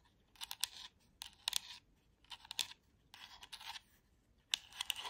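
Long manicured nails tap and click on the D-pad, buttons and front of a black plastic Xbox wireless controller, a hollow handheld shell held close. The result is bursts of bright, sharp clicks and scratchy taps with short quiet gaps between them, all high-pitched with no low-end body.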